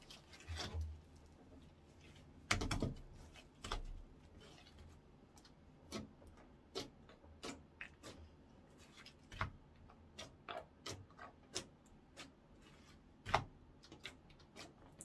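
A ball of orange clear slime is squeezed, poked and folded with fingertips on a wooden counter. About twenty short, sharp wet clicks and pops sound at irregular intervals over a quiet background, with a louder squelching burst near the start and another sharp pop toward the end.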